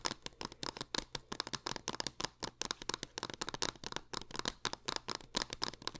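Long acrylic nails rapidly tap and scratch the front and edges of a hollow green plastic Xbox One game case for Five Nights at Freddy's, held in the hands over purple satin and lying on it at the end. The result is a dense run of sharp, bright clicks with crinkly scratching between them, possibly from the case's plastic sleeve, over a faint low hum.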